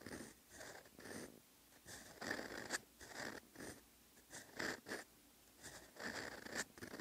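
A steel fountain pen nib scratches across a flat, solid lined paper notebook page while writing Korean text. Short bursts of dry, raspy scratching rise and fall, with a bright edge and a faint squeak around 1.8 kHz. Quiet pauses between strokes separate the bursts.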